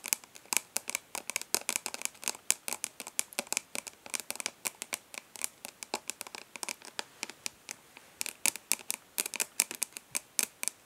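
Long fingernails rapidly tap and lightly scratch the embossed lid of a hollow plastic makeup palette held in both hands. About 58 quick, dry, bright clicks come in uneven bursts, with faint scratchy rustling between them, almost no low end and no ring after each tap.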